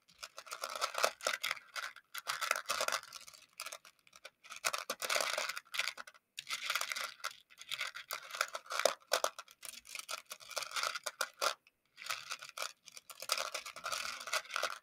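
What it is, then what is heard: Plastic beads stirred in plastic dish. A makeup brush handle stirs and scratches through a shallow round clear plastic container full of small colorful plastic pony beads. The result is a dense, bright clatter and rattle of many tiny clicks in bursts, with brief pauses between them and no low end.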